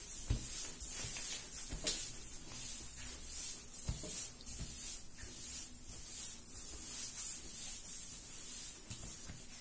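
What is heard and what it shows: Bare hands press and rub the surface of a large, soft, solid yellow raisin bread dough ball while kneading it on a floured marble-pattern counter. A steady, bright, sandpaper-like rubbing hiss swells and fades, broken by a few soft, low thumps as the dough is pressed down.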